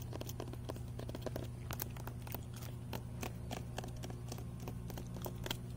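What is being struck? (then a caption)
Weathered wooden plank. Fingernails and fingertips tap and scratch the weathered side plank of an outdoor raised garden bed, a solid wooden board with a knot. Quick, dry clicks and scratchy crackles come in an uneven stream over a steady low background hum. Each tap dies away almost at once.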